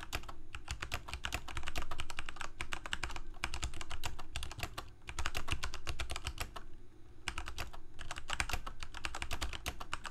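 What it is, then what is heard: Plastic mechanical keyboard being typed on. Fingertips of both hands type continuously on a full-size black plastic Corsair K68 gaming keyboard with backlit keycaps, Cherry MX Red switches and a hollow plastic case. Fast, uneven bursts of short, bright clacking keystrokes are broken by brief pauses near 3, 5 and 7 seconds. A steady low hum sits underneath throughout.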